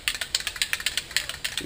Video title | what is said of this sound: Mercedes Benz 560SL Vs Saab 97 Sports Car!! | shake this stuff until the ball stops rattling